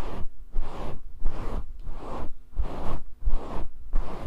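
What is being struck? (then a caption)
Synthetic fur microphone windscreen. Fingertips and nails scratch and brush through a fist-sized grey faux fur microphone windscreen held close up. The result is a steady series of soft, rumbly scratching swishes, heavy in the low end, with short quiet gaps between strokes.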